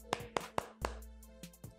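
The polycarbonate back panel of a Poco X3 NFC smartphone is knocked six times, giving short, dry, hollow taps centered around 480 Hz with almost no ring. The thin back seems to have a gap or cavity behind its middle, and it sounds different from a Realme 7 Pro.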